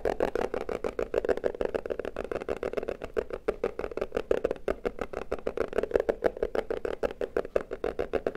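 Fingertips and nails tap rapidly on the flat sides of a small, hollow, closed red printed cardboard box held in both hands. About 46 quick, dry taps come in a steady flurry, each with a hollow midrange knock around 440 Hz that dies away almost instantly.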